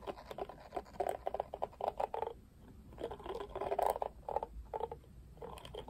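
Fingertips scratch and strum the black plastic bristles of a pink plastic oval paddle hairbrush, a Barbie brush. Bursts of dry, rapid scratchy patter centered in the midrange come in quick clusters, with a brief quiet pause near the middle before the strumming resumes.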